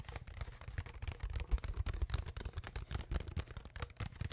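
Long fingernails tap and scratch the ridged sides of an empty, hollow, clear ridged plastic water bottle with its cap on, held in front of a microphone. A rapid, uneven run of short, dull taps carries heavy low-end thumps, with faint crinkly scratching over the top. Each tap dies away almost at once.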